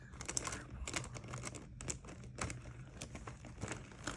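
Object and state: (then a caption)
Crinkled clear plastic pouch. A small clear plastic or vinyl Mario Badescu cosmetic pouch with green fabric zipper trim is held closed in one hand and crinkled, squeezed and pinched between fingers with dark-painted nails. It gives a quiet, steady run of dense, bright crinkling and crackling over a low rumble, with short sharp snaps that stop almost at once.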